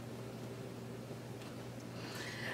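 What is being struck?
Nothing is struck.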